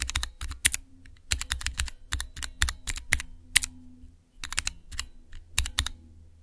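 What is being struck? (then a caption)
Plastic mechanical key switches on a small tester. Keys on a small clear plastic Cherry MX switch tester with transparent keycaps are pressed with fingertips and nails. The result is quick bursts of sharp, bright clicks over a low thocking body, separated by short pauses.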